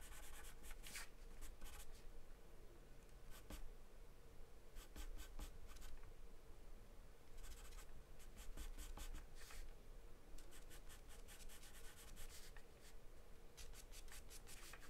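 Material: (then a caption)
Paper. A wooden charcoal pencil sketches continuous strokes around the lips of a drawing on a white sheet of paper taped flat. Bursts of soft, bright scratching come and go over a steady low hum.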